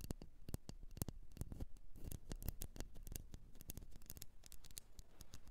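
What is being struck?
Candle in a container.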